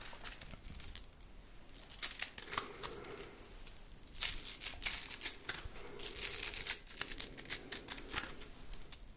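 A red plastic slinky spring is stretched upward and let fall back into the palm, its coils clattering together in bright, dry, rapid clicks. The clatter comes in repeated bursts, loudest around the middle of the clip, over a soft low rustle and a faint hum.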